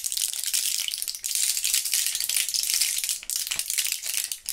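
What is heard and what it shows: A small plastic blister pack with a foil back, full of purple gum pellets, is held in gloved hands and shaken. The loose pellets rattle inside the plastic bubbles in a dense, bright, hissy clatter with brief dips between shakes.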